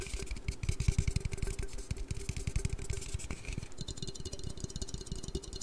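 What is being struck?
Aluminium drink can.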